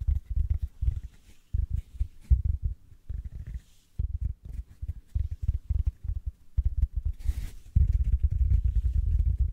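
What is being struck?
Synthetic foam sponge.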